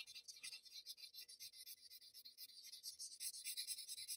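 A paper blending stump rubs the graphite-shaded areas of a drawing on a flat sheet of Bristol paper in quick, repeated strokes. Each stroke makes a soft, dry, bright scratching hiss with almost no low end, the strokes following one another in a steady rhythm that grows slightly louder near the end.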